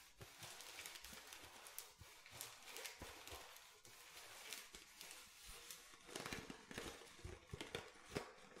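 Fingernails tap quickly and repeatedly on the body, cap and bottom of an empty clear plastic water bottle with a blue cap. The taps are light, dry, bright clicks with a faint crinkle, each dying away almost at once over a soft steady hiss.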